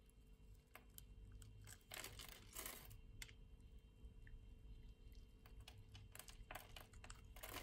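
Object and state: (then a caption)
Soap bar scraped with a blade. A utility-knife blade scrapes across the grid-scored surface of a solid orange translucent soap bar, flaking off tiny cubes. Quiet, crisp crunching and dry clicking bursts come in irregular clusters, with short brighter scrapes standing out over a steady low hum.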